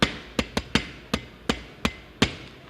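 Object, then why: Wooden table. Someone knocks on a table with a series of nine short, dry, wood-block-like knocks at an uneven pace. Each knock has a low hollow tone around 220 Hz with a bright click on top and dies away almost immediately.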